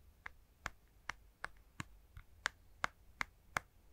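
Fingertips tap on a handheld plastic Nintendo Switch game console with Joy-Cons attached, held close to the mic. About ten short, dry, clicky taps land in a steady rhythm, each centred around 1.4 kHz with a bright edge and almost no ring. The result is a quiet, crisp hollow-plastic tapping over a faint low background hum.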